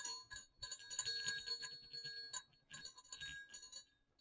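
Two small hollow silver metal jingle bells on a cord are shaken and swung, producing bright, high jingling and clicking in irregular bursts with short pauses. The rattling tones are sharp and decay quickly, with almost no low end.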